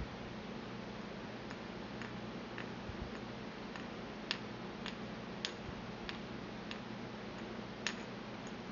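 A porcelain pestle taps inside the hollow bowl of a small, empty white porcelain mortar held in the palm. It makes a series of short, bright, glassy ticks that die away almost at once, growing more distinct in the second half over a steady low hum.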